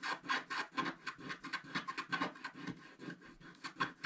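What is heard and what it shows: A wooden stick scratches the upper right area of a black scratch-art paper page in a book while the other hand steadies the bottom of the page. A quick, uneven series of dry, raspy scratching strokes is heard, each a short bright scrape with a faint squeaky tone near 1 kHz and almost no low end.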